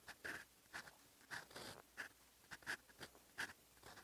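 A steel fountain pen nib scratches across flat lined writing paper on a desk, writing Korean characters in yellow-green ink. About ten short, dry scratching strokes come at an uneven pace, each with a bright, raspy hiss centered near 1.7 kHz and almost no low end. The strokes are quiet and close, with quick pauses between them.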